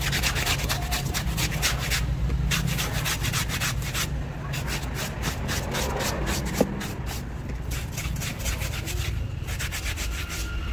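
A hand-held bristle scrub brush scrubs and rubs the face and belly of a large, soft, filled blue Stitch stuffed toy made of plush fabric, wet and soapy and lying on a wooden board, while the other hand holds it steady. Brisk, uneven scrubbing strokes, about four per second, make a steady bristly rasp with bright hissy streaks over a dull low rumble. One brief sharper tick stands out near the middle.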